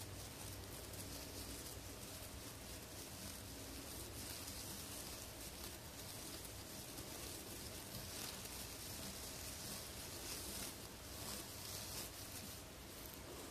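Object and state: Nothing is struck.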